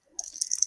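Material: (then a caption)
Glass. Excess Glamour Sparkles glitter, which is like a glass glitter, is tapped off a project back into its jar. A bright, high-pitched rattle and patter of fine particles is heard, rising in small bursts.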